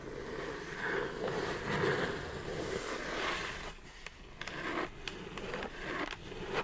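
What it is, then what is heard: Cardboard mailer box. Long nails scratch along the side edges of a hollow brown kraft cardboard mailer box, making a steady rough scraping for several seconds. This is followed by a few sharp, dry taps on the box.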